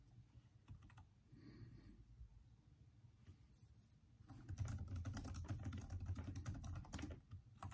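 Fingertips of both hands type continuously on the hollow plastic keys of a backlit Microsoft Surface laptop keyboard, producing soft, rapid clicking taps over a low, dull hum. The typing is sparse and quiet at first, then grows louder and denser about halfway through, with quick bright clicks continuing to the end.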